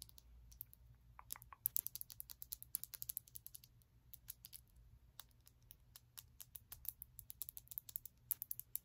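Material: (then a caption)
Glass. Long nails tap and scratch a small glass bottle of glitter nail polish with a black plastic cap, making a dense run of quick, bright clicks with a faint scratchy texture. The clicks die away almost instantly over a soft, steady low hum.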